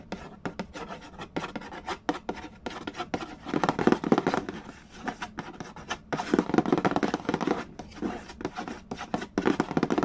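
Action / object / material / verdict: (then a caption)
scrape / cardboard game box lid / cardboard / none. Fingertips rub and scratch the printed cardboard lid of a large, flat, hollow Mastermind board game box. The result is a fast, irregular run of dry scraping and tapping strokes with no ring, from a low papery body up to a bright hiss. Denser, louder scratching bursts come around the middle and toward the end.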